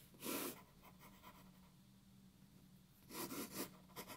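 A graphite pencil hatches scratchy strokes across a white paper sheet resting on a wooden table. A bright, breathy scrape opens the clip, then a quiet stretch with a faint low steady hum, before another run of quick scratching strokes near the end.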